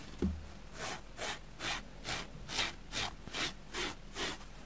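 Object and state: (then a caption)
Dusty foam sponge being brushed. A white plastic spoolie brush scrapes across a grey porous foam sponge block, shedding dust from it. After a brief low thump at the start, nine steady, evenly spaced scratchy strokes follow, each a soft bright rasp of brushing against foam.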